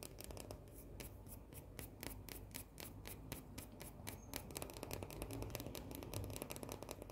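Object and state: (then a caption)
White chocolate coated cookie. Long painted nails scratch a small round cookie with a solid white chocolate shell. Quick, irregular, bright scratchy clicks come in dense bursts over a steady low rumble, holding a fairly even, quiet level throughout.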